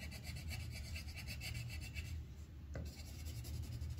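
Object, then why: Wooden colored pencil on paper over a clipboard. The tip of a yellow wooden colored pencil makes rapid rubbing strokes on a thin white paper sheet resting on a clipboard, filling in a flower petal. A soft, rhythmic scratchy rasp with bright, airy texture sits over a low, steady rumble. The strokes pause briefly just past the midpoint, then resume at the same quick pace.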